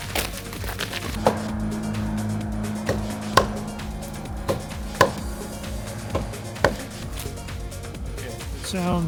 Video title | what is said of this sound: Safe Trees Cut Down in Stanley Park: The Rawlings Study (Short Version) | it sounds solid to me. I don't think there's any decay in this tree. It sounds solid, stable.